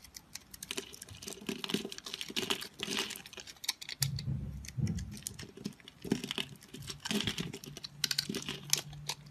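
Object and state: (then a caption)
Dry bar soap cut into cubes. A hand-sized block of solid, multicolored dried bar soap is scored into small cubes with a utility-knife blade, and the cubes crumble off into a pile. Dense, dry, crisp scraping and crackling clicks with bright, high edges run throughout, broken by softer, lower crumbling thuds as the pieces fall away.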